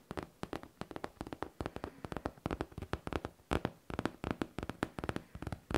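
Long teal nails tap quickly on a hollow pink faux leather backpack. Many short, dull taps come in small bursts, each dying away almost at once. The tone is low and soft, with little brightness.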